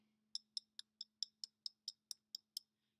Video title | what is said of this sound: Clay Pinch Pot Demo 3- Glazing | if you tap on it you can hear a difference in the sound it sounds almost like glass